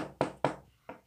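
A desk is knocked on to show that sound travels through a solid, heard with an ear against the desk. Three quick knocks land, the first two loud and the third softer, each a short hollow thump with a mid-range body that dies away fast. The knocks come through loud and clear.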